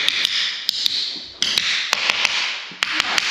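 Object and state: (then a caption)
Hollow-sounding old floor tiles. Old ceramic floor tiles are tapped to sound them, giving about a dozen short, sharp, bright clicks in quick pairs with no ring, over a steady high hiss. The tiles sound hollow, so new tile can't be glued over them, and all the old tiling will be broken up and a leveling screed applied.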